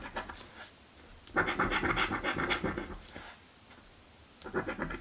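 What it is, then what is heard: Coin scratching a paper scratch-off ticket. A coin held in the fingers scrapes the scratch-off coating of a purple paper lottery scratch card lying flat on a table. A few light scrapes are followed by a long run of rapid, dry, bright scratching strokes, a quiet pause, and then a final quick burst of scratching.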